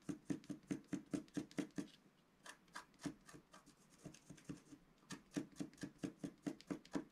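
The pointed tip of a wooden stylus scratches fine, repeated strokes into a flat, letter-sized sheet of black-coated rainbow scratch paper from a scratch book, held flat on a table. Quick, dry, scratchy strokes come in a rapid run, soften into lighter, uneven scraping in the middle, then pick up again into a steady series of crisp strokes. Each stroke is short with no ring.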